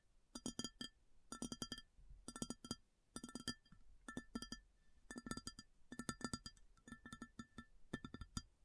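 Long fingernails tap on an empty, large, round white ceramic plate in quick bursts of clicks separated by short pauses. Each tap is a short, bright clink with a low body near 230 Hz and ringing tones around 1.3–1.8 kHz that die away almost at once.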